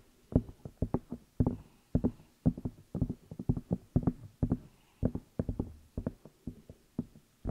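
Fingertips and long nails tap and rub the outside of the two hollow rubber or silicone ear pieces on a black binaural microphone. The result is a quick, irregular run of dull, low, close-up thumps that die away almost at once, with faint rubbing between the taps.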